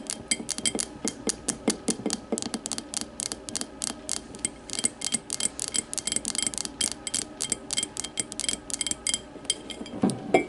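An empty clear glass tumbler lying on its side is tapped rapidly with the long matte nails of both hands. It makes a steady stream of dozens of bright, crisp clicks, each with a short glassy ring. The taps cluster in quick bursts and grow a little fuller and louder near the end.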